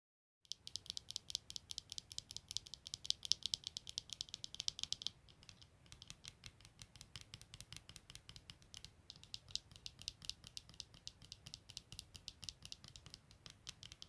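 Long natural nails tap rapidly on the lenses and frame of a pair of black plastic-framed eyeglasses with clear lenses, lying unfolded on a woven blanket. The result is a dense stream of crisp, bright clicks with almost no ring, interrupted by brief lulls around the five- and nine-second marks.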